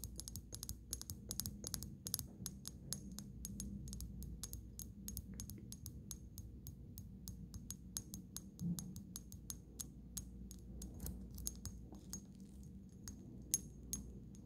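Long fingernails tap and click against the body and shoulder of a small amber glass dropper bottle with a black cap and liquid inside. Dozens of quick, bright clicks run steadily over a low background hum, each with a short glassy ring.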